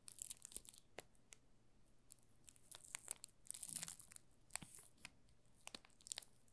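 A yellow solid bar of soap in clear plastic film with a printed label on the back is turned in both hands while fingertips rub the film along its edges and face. The result is a quiet stream of bright, short crinkles and crackles, with denser bursts of rustling in between.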